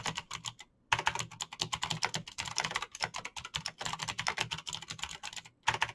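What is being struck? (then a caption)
Plastic mechanical keyboard. Fingertips type fast on a Razer BlackWidow backlit plastic mechanical keyboard with clicky green switches, producing a dense stream of sharp, bright clicks and taps. The typing pauses briefly twice before resuming at the same quick pace.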